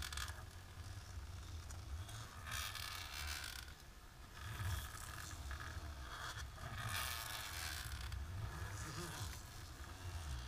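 Long natural pink nails on both hands, in lace fingerless gloves, scratch across a flat dark embossed plastic sheet resting on a table. The result is a continuous rough, zipper-like scraping and rustling with bright crackly texture, swelling in bursts over a steady low rumble.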